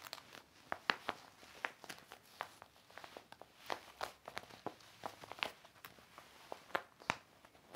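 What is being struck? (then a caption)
Heavy clear vinyl zippered organizer. A large, flat, empty hanging organizer with clear heavy vinyl zippered pockets over a black backing lies on a red blanket and is wiped and rubbed with a yellow cloth held in the fingers. Many sharp plastic crinkles and crackles ring out bright and dry over a faint hiss, with almost no low end. A second similar organizer sits untouched nearby.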